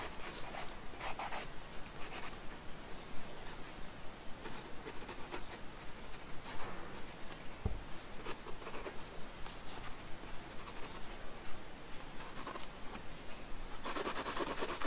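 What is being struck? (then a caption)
Graphite pencil on a paper sketchbook page over a wooden desk. A wooden graphite pencil makes sparse, scratching strokes on a paper sketchbook page resting on a wooden desk. Short, bright, papery scrapes come in irregular bursts over a quiet background, with a soft low bump midway. A denser, louder stretch of scratching closes the clip.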